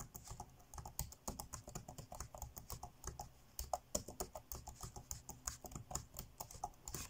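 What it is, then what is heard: Plastic laptop keyboard being typed on. Fingertips tap quickly across the dark grey plastic chiclet keys of an ASUS laptop keyboard, typing fast. A steady, irregular stream of dozens of short, dry clicks is heard, each with a bright snap and a soft low thud. Every click dies away almost instantly.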